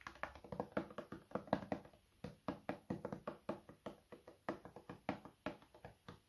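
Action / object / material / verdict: tap / plastic lotion bottle / plastic / none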